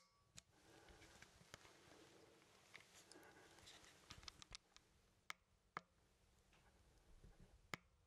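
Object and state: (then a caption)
Plastic game controller buttons clicked. A fingertip clicks the buttons on a hollow plastic Nintendo Joy-Con controller, its Joy-Cons attached to a grip and held close, producing a scattered series of short, sharp, bright clicks. The clicks stop almost instantly over a quiet, steady background hiss.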